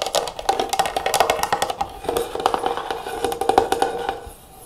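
Long nails and fingertips tap quickly on the closed lid and sides of a medium clear plastic (likely acrylic) storage jar with a metal clasp, filled with cotton swabs. The result is a rapid run of about thirty short, dry clicks with a hollow mid tone near 780 Hz and bright edges, each dying away almost at once. The tapping stops near the end, leaving a quiet tail.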